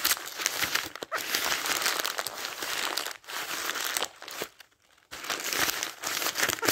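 Thin paper pages of a thick paperback dictionary lying open are riffled and turned by fingertips, giving a dense, bright crinkling rustle with almost no low end. The crinkling runs in steady bursts, broken by brief quiet gaps near 1, 3.2 and 4.7–5.1 seconds before resuming.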